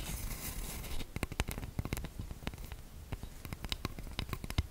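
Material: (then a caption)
Wood. Fingertips and long nails tap and scratch the back of a light-colored wooden cooking spoon held in both hands, its bowl solid, flat and round. A dense, scratchy rustle fills the first second, then gives way to a quick, uneven run of crisp, dry clicks and taps with very short ring.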